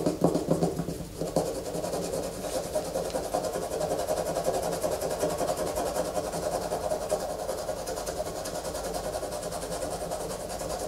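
Fingernails scratch a solid white bar of soap held in the hands, shedding shavings. A dense, steady raspy scratching runs throughout, with a few sharper strokes near the start and a faint bright fizz on top.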